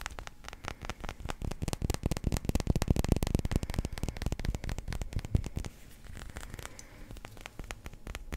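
A small solid yellow resin billiard ball is held in the fingers and tapped and scratched with fingertips and nails. Quick, irregular dry clicks and scrapes run together in a dense, mostly low-weighted patter, peaking around the middle and growing softer and sparser toward the end.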